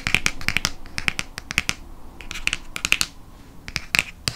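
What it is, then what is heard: Hardcover book. Fingernails rapidly tap the front cover of a hardcover copy of Prisoner of Azkaban. The taps are sharp, dry clicks that die away almost instantly, with a bright tone centred near 2.5 kHz, coming in quick irregular bursts over a faint background hiss.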